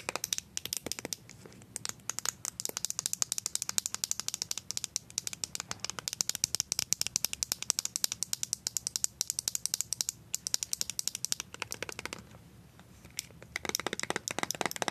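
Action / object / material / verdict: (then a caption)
tap / small plastic cosmetic squeeze tube tapped with metal-tipped nails / plastic / none. A small white plastic BB cream tube with a blue cap is turned in the hand and tapped rapidly with paper-clip-covered nails. This produces a dense stream of sharp, bright, dry clicks and light rattling with almost no low end, with a brief lull just past the twelve-second mark before the tapping resumes.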